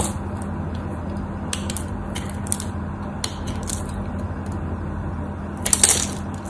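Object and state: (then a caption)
Bar of soap being sliced. A craft knife slices chips from the face of a solid, cream-white bar of soap. Short, bright, crisp scraping and crunching bursts sound over a steady low hum, ending in a louder cluster of cuts near the end.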